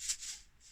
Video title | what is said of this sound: planting cress | give it a shake hear that sound that means it's good and dry